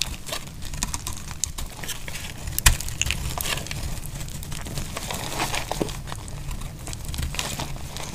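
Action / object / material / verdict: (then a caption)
scrape / bar of soap cut with a metal blade / soap / none. A metal blade cuts slices off a thinning, solid, dry pink soap bar held in the hand. Dense, crisp crackling and crumbling scrapes run steadily over a low rumble, with one sharper, louder snap partway through.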